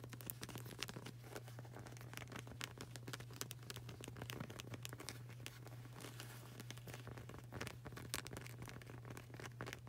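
Long burgundy nails rapidly tap and scratch the dark grey textured rubber sole of a flip-flop with a flag-print edge, solid and flexible and held in both hands. Dense, crisp clicks and dry scraping crinkles run throughout over a steady low hum near 125 Hz, each tap dying away almost instantly.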